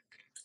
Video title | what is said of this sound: ANÁLISE DE CORROSÃO DE ARMADURAS NA PRÁTICA! | quando nós passamos aqui a haste, aqui está tudo bem, né?